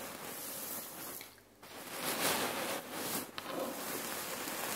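Hands press and squeeze a red patterned cotton neck warmer pillow filled with cherry pits on a wooden table, using fingertips and nails. A dense, gritty rustle and crunch of shifting pits fills the clip, bright and hissy with little low end. It briefly fades near the middle, then returns louder with a few sharper clicks.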